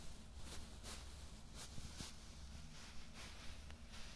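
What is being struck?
Nothing is struck.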